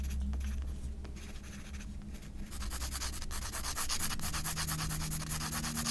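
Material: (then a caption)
Paper. A graphite pencil held in the hand scratches and hatches across a portrait drawing on a page of a spiral-bound paper sketchbook lying flat on a pink flowered cloth. Soft, dry rubbing strokes repeat at about four per second over a steady low hum. After about three seconds they grow louder, brighter and more tightly packed.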